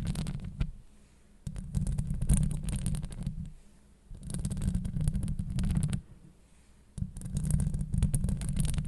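Long acrylic nails scratch across the surface of a hollow metal wire-mesh microphone grille. The result is a deep, muffled, rumbling scrape with faint bright crackle on top. It comes in four bursts separated by short quiet pauses.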